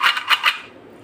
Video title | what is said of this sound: Chat wali papri -paprika chat recipe-papri banane Ka tareeka | कितनी क्रिस्पी है। इसकी आवाज से पता चल रहा है।